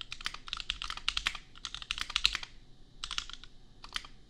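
Fingertips of both hands type on a $250 custom compact mechanical keyboard with Gateron Milky Yellow switches and red/pink plastic keycaps. Quick, bright, short clacks come in two dense bursts, then a brief pause and a sparser run of keystrokes.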